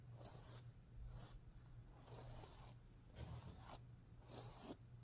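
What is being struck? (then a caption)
Plastic sequin pillow. Fingers and nails brush and scratch across the reversible plastic sequins of a stuffed heart-shaped pillow, flipping them from pink to green. The quiet clip has repeated bright, hissy swishing strokes over a steady low hum.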